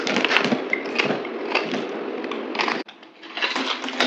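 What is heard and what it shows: A yellow utility knife blade scrapes and cuts into a dry green bar of soap held in the hand, already partly carved into cubes, with gold-wrapped soaps nearby. It makes a dense, bright, crumbly crackling as pieces flake off. The sound falls briefly quiet near the end before the scraping resumes.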